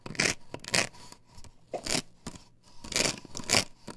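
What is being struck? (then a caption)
Plastic stencil template on wooden board. Long nails scratch and scrape across a plastic stencil template glued to a wooden board, held upright close by. The result is a series of uneven, bright, raspy scraping bursts with short gaps between strokes.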